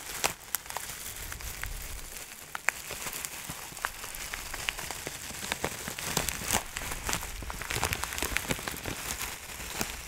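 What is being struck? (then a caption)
Plastic bag of dried herbs. A clear plastic bag of dry herbs is tilted, shaken and crinkled by hand. Steady, bright crinkling and rustling fills the clip, scattered with many sharp, quick crackles that stop almost at once.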